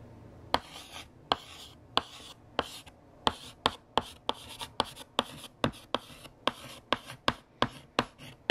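A stick of green chalk writes on a large, solid, flat black chalkboard, tapping and scratching across the same board. Sharp, bright taps, about nineteen of them, are separated by soft, raspy strokes in a quiet, dry setting.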